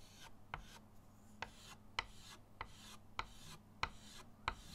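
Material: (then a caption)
Chalk. Pink chalk, then blue chalk, is rubbed in shading strokes across a flat, solid chalkboard in a wooden frame resting on a table. A steady, dry, bright scratching hiss runs throughout, broken by seven sharp, short ticks as the chalk catches at the stroke ends.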